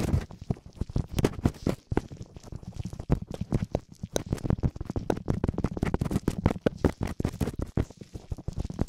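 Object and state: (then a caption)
Silicone ear covers being rubbed. Gloved fingertips rapidly scratch and rub both small, hollow, soft silicone ear covers of a binaural microphone. The result is a dense, muffled stream of quick scratchy thumps and rustles, heavy in the low end with almost no bright content, each burst stopping dead with no ring.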